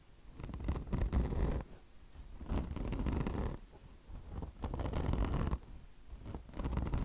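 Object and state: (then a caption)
Mesh-covered microfiber car wash sponge scratched with nails. Long blue nails scratch the mesh of a mesh-covered microfiber car wash sponge with a soft foam body and microfiber fringe. Four long passes of dense, rough scratching swell and fade, each a low, muffled rumble with faint bright streaks of crackle and short quiet gaps between.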